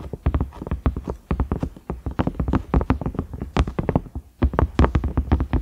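Fingernails tap and scratch across the ridges of a large cream silicone microwave lid with a round knob. Rapid, dull, clicky taps fall in quick uneven bursts with soft scraping between them, each tap dying away instantly with no ring. The sound is heavy in the low end, with a short pause just before the last burst.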